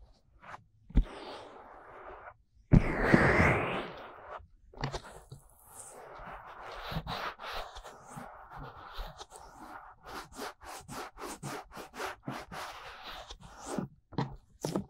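Both hands grip the soft silicone ear molds of a 3Dio binaural microphone while painted fingernails slowly scratch and rub the silicone surface. Quiet, close rubbing is broken by a louder, rushing burst of friction near the three-second mark. It then settles into a steady run of short scratching strokes that sound dry and muffled, with a low rumble underneath.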